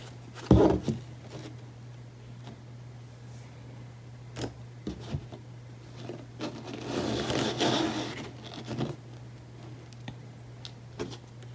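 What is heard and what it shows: A small, thick paperback book, the Emergency Response Guidebook 2012, with a glossy orange cover and multicolored page edges, is held in both hands and turned to show the spine. Fingertips and nails scratch and tap the cover, spine and page edges, making sharp taps over a steady low hum. A longer rustling scrape builds around the middle.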